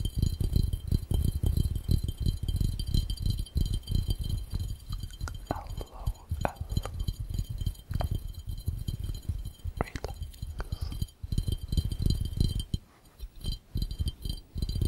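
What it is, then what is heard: Glass fishbowl. An empty, hollow, round clear glass fishbowl, held upside down, is tapped rapidly by fingertips on its base and sides. The result is a dense, uneven patter of dull, low thumps that die away almost at once, with a few brighter glassy clinks mixed in.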